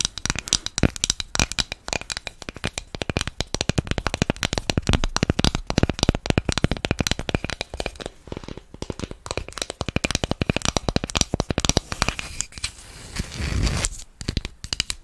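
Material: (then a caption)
Plywood. A thin, flat, hand-sized cutout of solid light plywood shaped like an apple is tapped and scratched with long acrylic nails close to the microphone. Rapid, dry, crisp clicks and taps run almost continuously, with no ring after each hit. A softer scratching passage comes around the middle, and a louder, low rubbing swell rises near the end.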